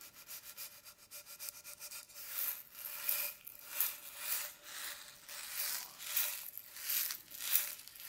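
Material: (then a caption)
Metal. A small, hollow round metal tin with a dark lid is held in one hand and turned while fingertips and nails rub and scratch it. Quick, soft, high scratchy strokes give way to longer, brighter swelling rubs with a hissy texture, over a faint steady hum.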